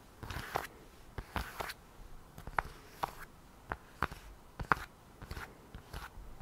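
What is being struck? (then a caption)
Polyurethane tablet folio case. Long nails tap and scratch along the folded panels of a lavender polyurethane and microfiber iPad folio cover, held upright with the tablet inside. Thirteen dry, sharp clicks and short scratchy bursts come at an irregular pace, with no ring after each one. Each click is a quick crisp tick with a faint thud beneath it, and a quiet background in between.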